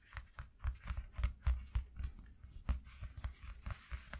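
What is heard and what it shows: Fingertips with short nails scratch and rub a flat piece of white corrugated cardboard from a shoe box. About a dozen quick, irregular scratchy strokes are heard, each with a dull low thump under a brief bright rasp that dies away almost at once.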